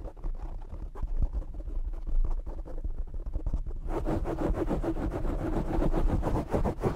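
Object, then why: Foam microphone windscreen. Fingertips and short nails scratch and tap the black foam windscreen on a desk microphone, producing close, muffled thumps and rubbing with a heavy low-end rumble. After about four seconds the scratching turns denser and brighter, adding a steady high hiss to the rapid, crackly strokes.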